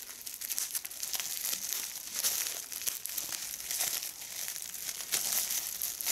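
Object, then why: Plastic bubble wrap. A small, hollow piece of clear, air-filled plastic bubble wrap is held in both hands while its bubbles are squeezed and popped with fingertips and long red nails. Dense, bright crinkling runs throughout, cut by many sharp snapping pops, with almost no low end.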